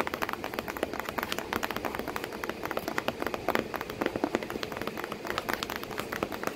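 Long painted nails tap quickly and continuously on a corrugated cardboard box flap with packing paper behind it, while a cat sits in the box. The taps are dry, short clicks with a papery mid-to-bright texture and almost no low end. Each fades almost instantly in a steady, irregular patter.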